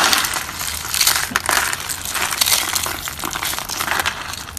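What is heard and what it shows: A pile of dried orange soap flakes on a wooden table is crushed and crumbled by fingertips. The result is a steady, dry, crisp crunching and crackling, bright and brittle with almost no low end, swelling and easing over a few seconds.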